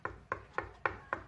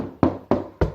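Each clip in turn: First: Five short, dry knuckle taps with no low boom: a solid concrete wall, not a hollow partition. Second: Three dull, low knocks with a brief boomy body: a hollow plasterboard wall over a cavity.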